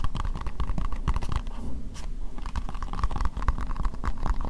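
Long nails tap rapidly and continuously on an empty, hollow, translucent pink plastic bowl. The dense clicks have a hollow, low thud and very short decay, with faint scratchy brightness between taps.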